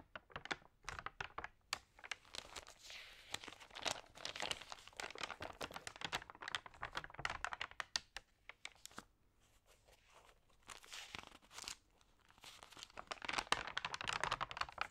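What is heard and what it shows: Long painted nails and fingers turn and crinkle the pages of a thick, glossy printed magazine lying open on a yellow tablecloth, its pages lightly sprayed with water. Dense, crisp crinkling and rustling crackles fill the clip, bright and dry with almost no low end. The sound eases to a softer rustle around the middle before building back to sharp crinkles at the end.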